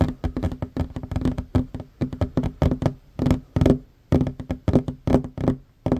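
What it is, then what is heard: Wooden tabletop tapped with fingers. Both hands fast-tap a flat, solid wooden tabletop with short fingernails and fingertips. The result is rapid, dull, woody knocks in quick irregular bursts with short pauses between them. Each tap is short and low-heavy with a faint resonant tone around 250 Hz and almost no ring.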